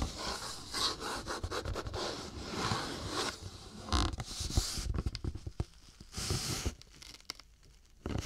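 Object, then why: Cardboard tissue box. A cardboard tissue box lying on a dark cloth is turned by hand while fingernails scratch and rub its printed cardboard surface. Soft, dry rubbing and scraping comes in bursts with bright, airy hiss, separated by quiet gaps and small taps and knocks.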